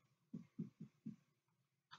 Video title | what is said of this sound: Neck, Lymph, Abd Assessment Medium | I'm trying to hear for that drum-like noise, which was good